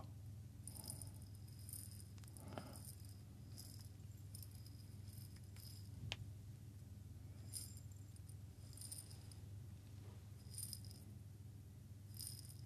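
A small lidded glass jar partly filled with coffee beans is held in both hands near the ear and shaken and turned, so the beans rattle inside. Brief bright clusters of rattling and clicking come in bursts over a steady low hum, staying quiet throughout.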